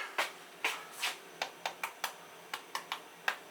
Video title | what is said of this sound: How to Cook Shake n Bake Chicken - Quick and Easy | that shows that it's nice and crispy on the outside